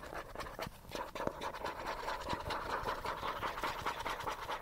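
A small, hollow yellow plastic cosmetic bottle is held in one hand and scratched fast with fingernails. The result is a rapid, uneven run of dry, crackly scrapes with short sharp clicks, carrying a hollow midrange plastic tone and bright edges throughout.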